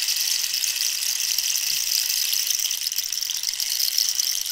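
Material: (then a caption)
Dried cactus. A long, hollow, dried-cactus wooden rainstick with a rainbow-banded end is tilted so its inner filling rattles while long nails tap its surface. The result is a steady, bright, hissing patter of dense tiny clicks that flows evenly throughout, with almost no low end.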